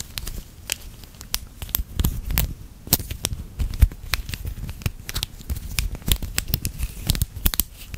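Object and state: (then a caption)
Plastic link chain toy clicking. A small hollow snap-together plastic link chain toy, about a hand-sized loop with red and blue segments, is held in both hands at the fingertips and bent and twisted close to the microphone. Its links click against each other in a dense, irregular stream of sharp, bright ticks and crackles over a soft low rumble.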